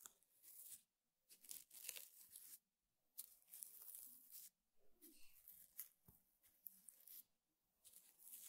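One hand jabs and scratches the coiled weave of a flat, square woven rattan table mat with the tip of a small brush held upright. The result is quiet, dry, bright scratching in short bursts separated by near-silence, with a crackly, tearing texture and a brief sharp tap near the end.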